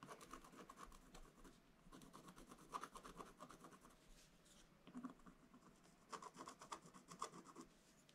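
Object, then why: Black-coated scratch-art paper scratched with a wooden stylus. A wooden stylus scratches the coating in the middle of a flat, black-coated scratch-art paper page. Quick, dry rasping strokes come in several bursts separated by brief pauses. They give a light scratchy texture with a faint tonal edge around 1 kHz.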